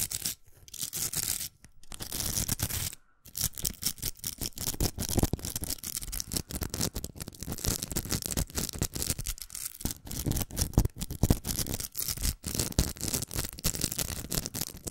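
Long nails scratch and tap a large, hollow pink plastic velcro hair roller with ribbed plastic inside. The result is a dense, continuous run of rapid, dry scratching and clicking with bright, hissy texture and almost no ring. There are a few brief pauses near the start.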